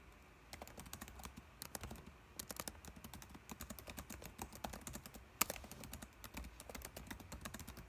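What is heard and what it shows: Fingertips type continuously on the plastic keys of a dark laptop keyboard, producing a steady stream of quick, dry, crisp clicks with bright tops over a faint low hum. The clicks come in uneven bursts, with one noticeably sharper keystroke partway through.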